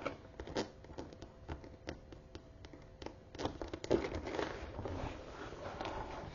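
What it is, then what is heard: Croc-embossed leather handbag. A closed brown croc-embossed leather tote bag stands on a table while long nails tap and scratch across its embossed leather front panel. Quiet, uneven dry clicks and crackly scraping come at about two per second at first, then give way to louder, denser scratching over the second half.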